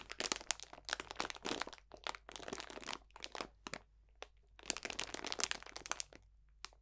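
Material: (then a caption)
Plastic, dried plants. A clear cellophane bag full of dried botanicals (potpourri) is pressed and crunched with the fingertips. Dry, bright crinkling and crackling comes in clustered bursts with short quiet gaps, each crunch stopping almost instantly with very little low end.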